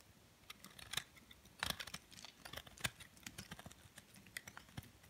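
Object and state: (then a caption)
Soap bar being shaved with a blade. A metal blade scrapes and cuts thin flakes off the end of a solid white soap bar held in the hand. The result is a quiet, irregular run of short, crisp, bright clicks and scratchy scrapes that stop dead with no ring, the sharpest snaps standing out over a soft hiss.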